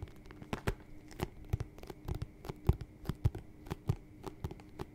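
Fingertips and nails tap and scratch the leather upper and toe of an empty, hollow white smooth-leather lace-up boot with a thick rubber sole, held up close to the microphone. A quiet, steady series of soft, dull, low thumps comes through with no ring, mixed with faint scratchy rustling between the taps.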